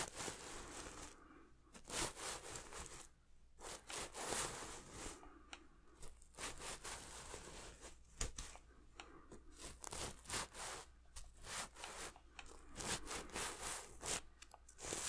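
Fingertips rub across the surface of a red and silver sequin throw pillow held next to the mic. Bright, crinkly scratching and tearing-like bursts rise and fall in quick strokes over a faint steady low hum.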